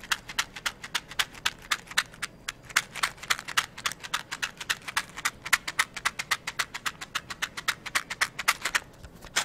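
A small, hollow, translucent plastic cylindrical container filled with wooden toothpicks is held in one hand and tapped with long yellow-painted nails or shaken. It makes a quick, slightly uneven run of about 63 sharp, bright clicks, roughly three to four per second. Each click is crisp and high-pitched, dies away almost instantly, and has almost no low end.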